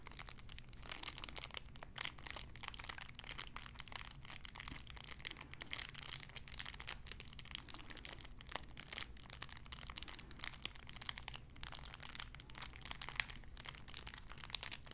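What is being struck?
Cellophane wrapper.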